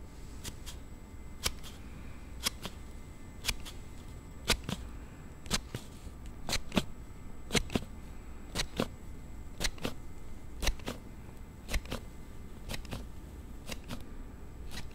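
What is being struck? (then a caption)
Plastic sliding phone case. A thumb slides the panel of a plastic slide case on a handheld Galaxy Note7 phone back and forth, producing sharp, bright clicks roughly once a second over a soft rustling, low-heavy background. Each click is very short and dry, with no ring afterward.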